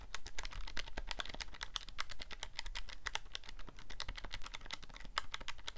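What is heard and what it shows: Fingertips rapidly press the number keys of a handheld black plastic scientific calculator with a hollow casing. It makes a fast, steady stream of short, bright plastic clicks with quick decay over a faint low rumble.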